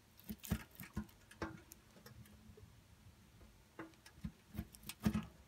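A pink bar of soap is scraped repeatedly inside a steel box grater, pushing curled shavings out through the holes. About eleven soft, dull rasping strokes are heard, with a quiet lull in the middle. Each stroke is brief and low-weighted, with a faint tone near 210 Hz and little ring.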